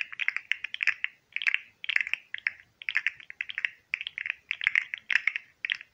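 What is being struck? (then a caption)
Segmented plastic fidget toy. Fingertips bend a hand-sized, hollow green and white articulated plastic fidget slug toy, clicking its segments. The result is rapid bursts of sharp, dry clicks, bright and centered near 2 kHz, with brief pauses between the bursts.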